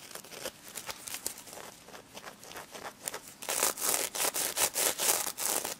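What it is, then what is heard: Sequin-covered plush toy. Long red nails scratch and rub the plastic sequins covering a pink stuffed pig toy. Soft, scratchy strokes give way to louder, bright, rasping swipes in quick, uneven rhythm over the last few seconds.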